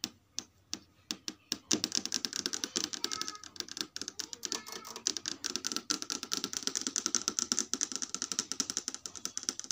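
Long red acrylic nails tap and trace across the smooth, hard screen of a large flat Samsung LED TV showing a static menu. A few sparse, sharp clicks open the clip, then a dense run of rapid, bright ticks follows with a thin, steady scratchy trace under them. The clicks are crisp and dry, with almost no low end and no ring.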